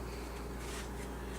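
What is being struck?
Nothing is struck.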